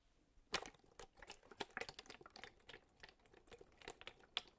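A large clear plastic drinking bottle with a label, mostly empty with a little water inside, is held up and tapped and squeezed with fingertips. It gives fast, bright, dry clicks and crinkles in quick bursts, with a faint slosh of liquid underneath.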